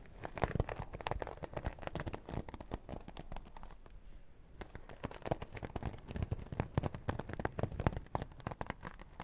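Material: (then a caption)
Vinyl. Long nails tap and scratch the holographic vinyl side of a small, hollow, zippered makeup bag. The result is a quick, dense run of dull, crinkly taps and short scrapes, with a brief quieter pause around the middle before the tapping resumes.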